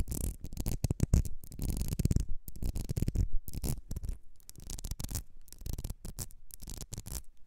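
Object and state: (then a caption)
Glass perfume bottle. Long red nails scratch and tap the ridges of a small ribbed glass perfume bottle with a gold cap. The result is a dense, irregular run of dry scratches and quick taps that stop short with no ringing, heaviest in the low end with brief bright edges.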